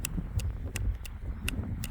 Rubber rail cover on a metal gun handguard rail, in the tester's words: They're really good for dampening down the sound, so you can hear that. It doesn't ring or ting like the standard ones do.